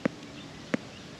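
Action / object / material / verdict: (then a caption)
flick / damper bread loaf baked in campfire coals / bread / hollow. Two light finger flicks on a loaf of survival damper bread that was baked buried in campfire coals. Each produces a short, dull, hollow tap that dies away almost instantly. The hollow sound shows the bread is baked through and ready.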